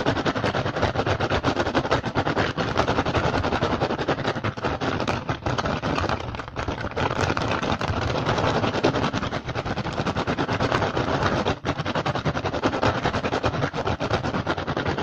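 A hollow woven rattan basket is scratched and tapped fast with the fingertips and short nails of both hands. A dense, steady stream of crisp, dry clicks and scratchy rustles carries on throughout, with no pause, at an even, close-up level.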